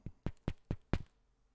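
A comic book sealed in a 2 mil mylar bag with a full-back board is knocked on five times in an even rhythm, the last knock doubled. The knocks are dull, low and short with no ring, like knocking on a door, showing the packaging is rigid and durable.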